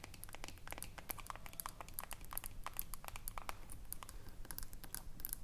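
Long nails scratch along the ridged side of the aluminium screw lid on a small filled glass jar. The result is a quiet, fast, uneven stream of short, dry scratchy clicks with bright, high metallic ticks over a soft low rumble.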